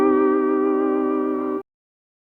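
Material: Nothing is struck.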